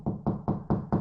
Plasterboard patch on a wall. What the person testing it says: can hear how strong that is just tapping on it. Doesn't sound loose. It's not going to fall in.